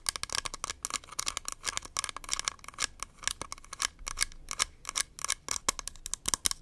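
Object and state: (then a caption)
Plastic powder compact. Long nails rapidly tap and scratch the rim and the bottom of a small, round, beige plastic powder compact with a hollow case and a barcode sticker on its base. A dense, uneven stream of sharp, bright clicks mixes with scratchy rasps. Each one is dry and stops at once, with almost no low end.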